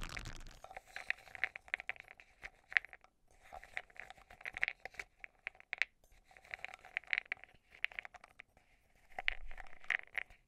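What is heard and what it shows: A metal tool stirs and scrapes pastel meteorite powder pearls inside a small, open silver metal cosmetic jar held in the hand above a pink shaggy rug. Dense, bright clicks and gritty scraping rattle in bursts separated by short pauses, with a faint ringing tone underneath. Each tick dies away instantly.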